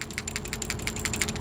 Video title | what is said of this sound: FIXED: The 3 Most Common Coolant Leaks on the 5.7l Tundra, Sequoia, Land Cruiser, LX570 DIY Tutorial | you can barely hear anything on this one, but then the new one, you can actually hear that ball valve moving